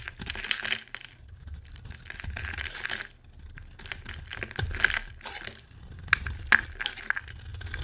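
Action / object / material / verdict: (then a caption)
scrape / bar of soap carved with a metal blade / soap / none. A metal utility knife blade scrapes and carves a solid white, hand-sized bar of dry soap held in the hand, with powdery shavings coming off. Dry, crumbly scraping strokes come in bursts with a bright hiss and a low rumble underneath, broken by a few sharp, short clicks.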